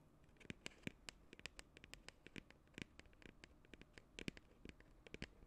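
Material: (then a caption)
Plastic. A medium cylindrical "Scoop Party" cosmetic tub, likely hollow plastic, with a white lid and printed label, is held in both hands while long acrylic nails scratch and tap along its side. The result is a quick, irregular run of sharp, dry clicks and light scratches over a low hush, each tap short and bright with almost no ring.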